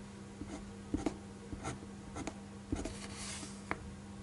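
A black fineliner ink pen tip traces lines over a pencil drawing on a single thin white paper sheet lying flat on a desk, with one hand holding the sheet. Short, irregular scratching and stroking sounds come in quiet bursts, some with a bright hiss, over a steady low hum.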